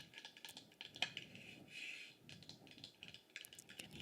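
Tapping on a solid, heavy-bottomed wooden incense burner, including on its bottom, produces a quick series of light, dry, high-pitched taps. A soft whisper is heard alongside the taps.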